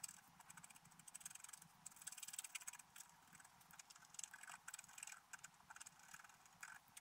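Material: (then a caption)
Coated paper. A wooden stylus scratches details into a flat, black-coated scratch art paper page. Quiet, bright, dry scraping comes in quick bursts of short strokes with little low end, separated by brief softer pauses.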